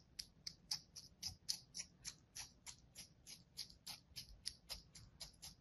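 A thin metal blade cuts lines into a solid slab of kinetic sand resting on a palm. Twenty quick, crisp, high-pitched crunching strokes follow one another at a fairly steady pace, each short and dry with almost no low end, over a faint low hum.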